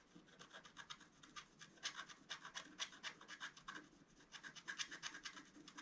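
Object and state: Scratch-art paper being scratched.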